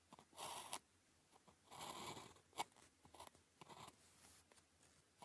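A blue plastic ballpoint pen held in the fingers writes characters on a flat sheet of thin paper with a red grid. The tip scratches across the paper in quiet, bright, rasping strokes, broken by short ticks and small gaps between strokes.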